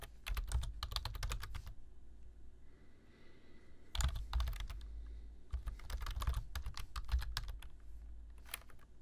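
Two bare-fingertip hands type continuously on a black plastic full-size keyboard resting on a desk, its solid body fitted with hollow key switches. Quick, dry clicking taps come in three rapid bursts, separated by a quieter pause near the start and a brief gap near the middle. Each keystroke carries a soft low thud beneath a bright click that dies away at once.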